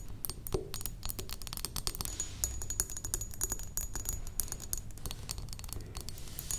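Long acrylic nails on both hands tap rapidly on the sides of a medium rectangular thick glass perfume bottle, partly filled with liquid. The taps come as quick, dense, sharp clicks with a faint bright, high glassy ring that fades almost instantly, over a soft low rumble.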